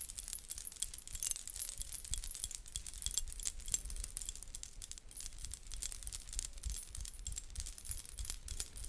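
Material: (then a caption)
Metal coins. A blue fabric belly dance hip scarf sewn with many small, thin metal coins is held up and shaken by hand, then gathered close to the microphone. The coins jangle in a dense, continuous, bright shimmer over a soft low rumble from the handling, rising and falling with the movement throughout.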